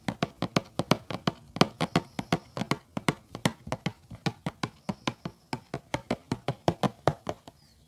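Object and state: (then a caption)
Cardboard tea box. Fingertips tap and lightly scratch the front panel of a hollow, rectangular printed cardboard tea box held upright on a rug. About 37 short, dry taps come at a quick, uneven pace, each a soft hollow thump with almost no ring, faint scratching between them, and a brief papery brush at the end.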